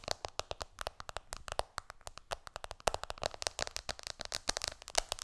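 Long nails tap fast on the glass screen of an iPhone lying flat, then keep tapping as the phone is lifted slightly. Dozens of sharp, dry clicks come in quick, uneven bursts, each bright and clipped with almost no ring and a faint tone near 670 Hz.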